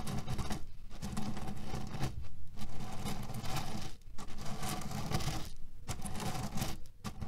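Fingernails scratch and knead the surface of a cotton pillow filled with cherry pits, making a steady, low, crunchy rustle and rattle as the pits shift inside. The sound runs continuously, with a few brief quieter dips between bursts of kneading.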